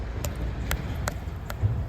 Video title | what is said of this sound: Garden Walkthrough | still making the dull sound. If it makes more of a tinny sound, then it's ready